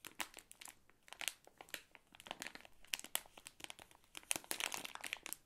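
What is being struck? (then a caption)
Plastic film candy bag. An Ahoj-Brause bonbon bag made of crinkly plastic film and full of wrapped sweets is squeezed and tapped with fingertips and long nails. It makes a steady stream of quiet, bright, crisp crinkles and crackles in quick, uneven bursts, with almost no low end and no ring after each sound.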